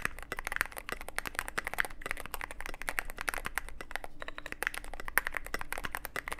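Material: Plastic, aluminium.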